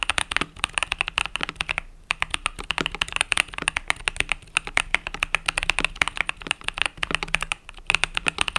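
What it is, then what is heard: Mechanical keyboard with plastic keycaps. Fingertips type rapidly on a compact mechanical keyboard with pastel purple-yellow plastic keycaps. The result is a dense run of short, bright clicks and clacks with little low end, broken by brief pauses.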